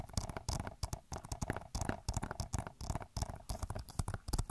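Long nails tap and scratch the back of a hollow plastic Overwatch game case. The result is a rapid, steady stream of dull, low thumps layered with bright, scratchy bursts. Each one stops short with almost no ring.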